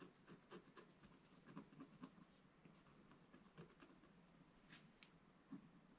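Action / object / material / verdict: scrape / wooden stylus scratching coated scratch-art paper / coated paper / none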